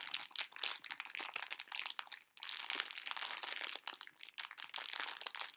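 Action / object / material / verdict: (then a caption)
scrape / plastic-film candy bag / plastic film / none. A full pink plastic-film candy bag of conversation hearts is held close in both hands, crinkled and scratched with long nails while the candies rattle inside. The result is a dense, continuous stream of bright, sharp crinkles and crackles with no low end, broken by a brief pause near the middle.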